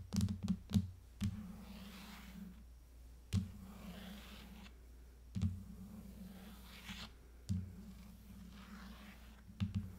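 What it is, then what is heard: Plastic case over aluminium tablet back. Long nails tap and lightly scratch the back of an aluminium iPad fitted with a plastic tablet case. A quick cluster of dull, low knocks is followed by single taps every couple of seconds, each dying away almost at once. Between the taps, faint soft scratching sits over a steady low hum.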